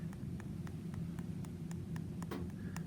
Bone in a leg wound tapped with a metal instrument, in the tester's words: i'm tapping on some exposed bone